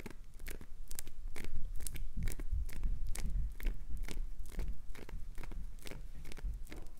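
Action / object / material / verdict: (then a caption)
scrape / glycerin soap bar / glycerin soap / none. Long acrylic nails scratch and carve shavings off an already carved, hand-sized, solid green translucent glycerin soap bar with red inclusions, held in one hand. The result is a steady run of short, dry, crunchy scrapes with bright, hissy edges over a faint low rumble.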